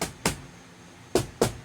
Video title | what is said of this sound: The F.O.B. - Ep. 8 (Back wall and ceiling insulation, electrical) | all you hear is the vapor barrier you get a thump thump